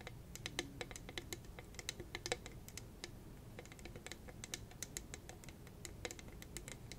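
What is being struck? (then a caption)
Rhinestone-studded tumbler tapped with long nails. Long red nails rapidly tap and scratch across the gem-covered surface of a hollow, hand-sized, purple rhinestone-studded cylindrical tumbler. The result is a quick, uneven patter of crisp, bright clicks that die away almost instantly, over a steady low background hum.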